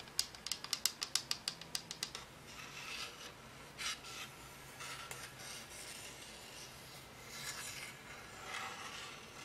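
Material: Plastic.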